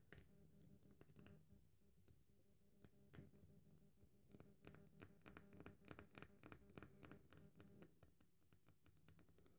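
A solid, cream-colored dry bar of soap is held in the hand while long nails scratch and crumble its edge. Quiet, dry scratching and crisp crumbling clicks come in irregular bursts over a low steady hum. The clicks grow denser and sharper toward the middle of the clip, then ease off.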